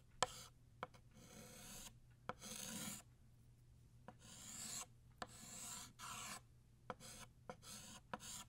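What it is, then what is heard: Chalk drawing on a chalkboard. Blue chalk draws the vertical and lower lines of a banner shape on a flat black chalkboard. Bright, scratchy rasping strokes alternate with quiet gaps, and eight sharp taps mark where the chalk meets the board.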